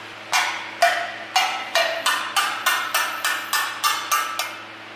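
Thirteen sharp, bright taps ring on the steel engine valves of a BMW 520d after a timing chain failure, each with a short decaying ring around 700 Hz. The valves are checked by tapping for bending, and they sound fine: straight, with no problem.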